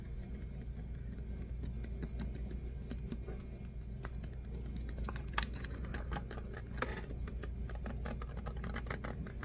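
Fingers tap and handle a small, hollow, partly full clear PET water bottle with a white cap, possibly tapping the cap too. Quick, soft, dry clicks and taps patter steadily over a constant low hum, with a couple of sharper, louder taps standing out midway.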